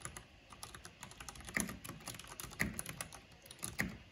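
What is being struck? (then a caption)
Plastic mechanical keyboard keys. Fingertips and long nails type fast on a black plastic mechanical keyboard with a purple backlight, making a quick, uneven run of bright, clicky key taps. Three heavier clacks with a low thud stand out at about 1.6, 2.6 and 3.8 seconds, and each tap stops short with almost no ring.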